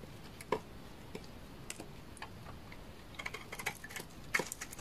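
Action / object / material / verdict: scrape / bar of laundry soap cut with a blade / soap / none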